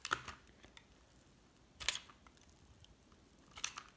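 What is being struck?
Bar of hard soap cut with a metal blade.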